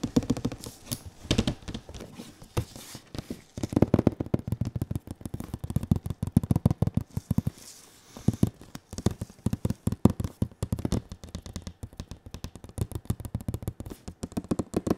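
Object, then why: Large printed cardboard box. Fingertips tap and scratch the glossy side of a large printed cardboard console box held diagonally. The result is a dense, uneven stream of quick, dull, hollow taps with a low body and very short decay, mixed with soft scratching between bursts.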